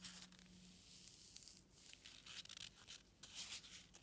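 A single small, light white foam packing peanut of solid foam, likely expanded polystyrene, is held between the fingertips and thumb and squeezed and squished repeatedly over a pile of peanuts. The result is quiet, bright, squeaky rubbing and crinkling in overlapping bursts, with almost no low end apart from a faint steady low hum near the start.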